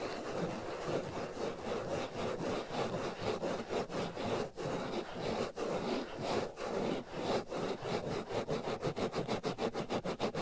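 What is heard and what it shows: Fingernails scratch the black foam windscreen covering the right ear of a binaural microphone, producing a dense, rough, rasping noise centered in the mid-range with a faint bright hiss. The strokes start slow and smeared together, then quicken into rapid, evenly spaced short scratches toward the end.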